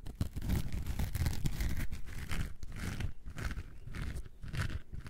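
A coarse orange foam sponge, gripped in a hand, is scratched with long nails. The result is a continuous rough scratching and crunching texture with deep low rumble, in dense back-and-forth strokes that swell and fade.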